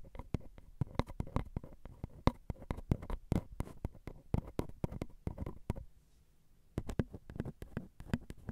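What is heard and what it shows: Long glitter acrylic nails tap and scratch along the ridged metal capsule bodies of a Zoom recorder's X/Y microphones. Many quick, dry, close-miked clicks arrive in dense bursts with a low, boomy thump under them, pausing for about a second of near-silence before resuming.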